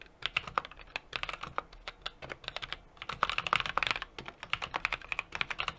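Steady fingertip typing with both hands on a 60% mechanical keyboard with an aluminum case, brass plate and plastic keycaps. About 37 short, crisp clacks arrive in a quick, uneven rhythm, bright with a mid-range knock and almost no low end. The typing gets louder and denser in the middle of the burst.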